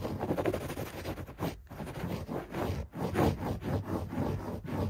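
Fingertips scratch fast at a beige shag carpet on the floor. A dense, continuous muffled rustling and scraping fills the clip, weighted toward low and middle tones with little high-end, broken by brief quiet dips.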